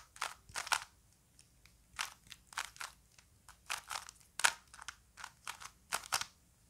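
A small plastic Rubik's cube is held in both hands while fingers twist its layers, producing a quick, irregular series of sharp, bright plastic clicks and crunchy scrapes. The clicks are short and dry with almost no low end, heard quietly against a near-silent background.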